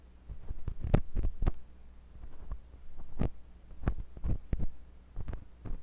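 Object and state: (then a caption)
Silicone ear of a binaural microphone, probed. A thin metal pointed sculpting tool with a wooden handle, held by fingers with long pink nails, scratches and pokes inside the canal of a white silicone ear on a block-shaped binaural microphone. The result is a series of deep, muffled thumps and rubbing bursts that feel like pressure in the ear, almost all low in pitch, over a steady low hum.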